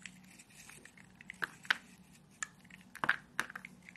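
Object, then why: Bar of soap scraped with a small blade. A small metal blade carves and scrapes grooves into a solid, hand-sized rectangular bar of dry white soap held in one hand, shaving off crumbly flakes. Quiet, dry scratching runs throughout, broken by several sharp, crisp scrapes centered around 1.5 kHz that stop dead with almost no ring. These scrapes come at uneven intervals over a soft background hiss.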